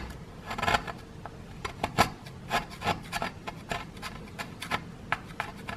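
A wooden stick scrapes a solid grey plaster excavation block, loosening plaster dust. A quick, uneven series of short, dry rasping scrapes is heard, each with a bright, gritty edge over a faint low rumble. The strokes stop sharply with almost no ring.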